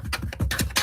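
A laptop is tapped by hand to show it is a real, physical object you can touch. A quick series of short, dull taps, each with a low thump and a bright clicky edge, dies away almost at once.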